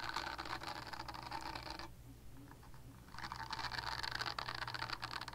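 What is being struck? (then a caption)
Silicone body scrubber. Long nails scratch a purple silicone body scrubber, making a dense, bright scraping patter over a low steady hum. The scratching pauses for about a second in the middle, leaving only the hum, then resumes just as busy.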